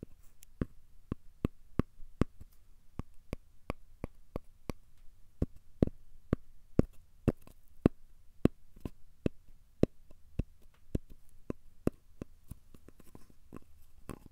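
A thin, solid, square cork coaster is held upright and tapped and scratched with the fingertips. There are 29 short, dry taps at a steady, fairly quick pace, each a dull, muted knock that dies away almost instantly. A soft, low hiss runs quietly underneath.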